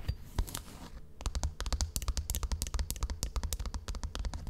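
Long painted nails scratch and tap rapidly on the cover of a solid, book-sized brown leather (possibly faux) notebook with a metal clasp, held close to a microphone. A brief soft scratching opens the clip, then a fast run of short, crisp clicks and taps rides over a deep, boomy low thump.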